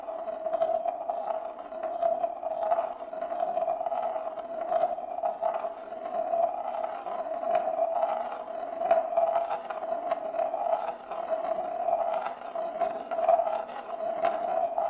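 A single glass marble rolls in circles on the inner surface of a large, shallow, hollow bamboo plate, which is empty and held in both hands. A steady mid-pitched hollow rolling hum carries throughout, rising and falling in waves as the marble circles. Faint ticks and clicks sound over it.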